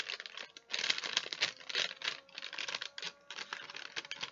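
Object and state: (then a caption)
Wax paper sheet being crinkled. A thin, folded sheet of wax paper is held in both hands while the fingers crinkle and fold it. The result is a bright, dry crackling in irregular bursts with quick pauses, with almost no low end.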